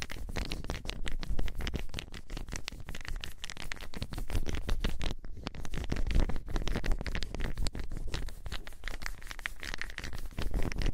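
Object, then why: Small solid wooden balls. Small solid wooden balls are held enclosed in both hands, rolled and shaken so they clack together. The result is a dense, continuous stream of quick, dry clicks and rattles with a heavy low rumble underneath and a brief lull a little past the midpoint.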